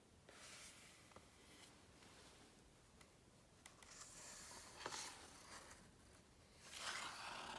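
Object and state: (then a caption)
Glossy book page. Fingertips tap and slide across a printed, glossy coated paper page of a large hardcover book lying open flat on a thick stack of pages. Soft, bright papery swishes rise and fade, broken by several light, sharp taps. The loudest brushing comes near the end.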